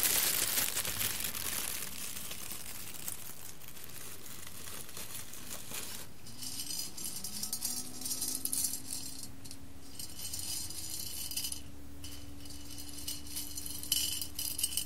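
A hand with long red nails digs into and stirs a pile of roasted coffee beans in a large clear glass bowl. The beans rustle with dense, bright crackling and clink against the glass. Partway through, a faint low tone rises in pitch and then holds steady under the clinking.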